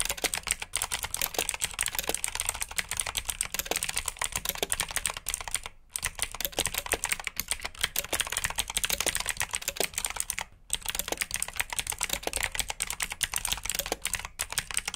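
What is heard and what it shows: Fingertips type steadily on a black backlit mechanical keyboard with plastic keycaps and blue switches, producing a dense stream of sharp, bright clicks with very short decay and little low-end weight. The rapid keystrokes continue throughout, broken only by two brief pauses around the middle and later part of the clip.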